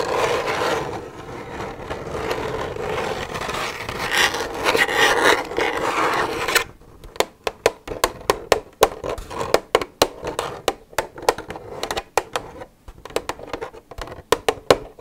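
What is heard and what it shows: Long red nails scratch and rub the side of an empty, hollow white plastic milk jug. A continuous, bright rubbing scrape in the first half turns into a quick, irregular run of sharp scratching clicks.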